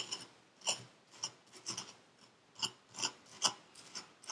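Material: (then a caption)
Sand. A thin metal pick tool with a wooden handle scrapes and carves the surface of packed purple kinetic sand in a paper cup, held in black-gloved hands. The clip has about ten short, bright, crisp scratching strokes with raspy, gritty texture, almost no low end, and very little ring after each stroke.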